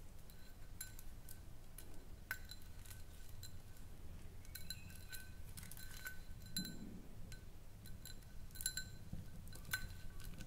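Long nails tap and scratch a small, round, clear glass jar with a ribbed rim, empty and hollow, held in both hands. Quiet, scattered clinks with a short, bright, high ring sit over a steady low rumble, with soft scratching between taps.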